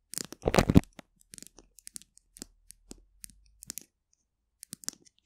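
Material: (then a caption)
Plastic. A small capped polka-dot plastic glue stick, a hollow tube held horizontally, is tapped and scratched along its plastic barrel with the long nails of both hands. A louder rough scratching burst comes first, followed by roughly two dozen light, dry, clicky taps that stop dead with no ring, spread unevenly across the clip.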